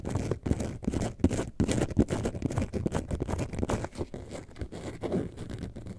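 Long nails scratch the textured front of a hollow, lemonade-carton-shaped yellow and white faux leather bag held upright. The result is a dense run of quick, uneven scraping strokes with a soft, low, hollow body and little high-end sparkle, fading slightly toward the end.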